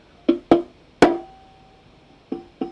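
A preamp valve (vacuum tube) in a running guitar amp is tapped five times, and each tap comes through the speaker as a loud, pitched knock around 340 Hz with a short ring, the third one leaving a longer tonal hum. The valve is super microphonic and faulty, so it is removed and replaced with a TAD valve.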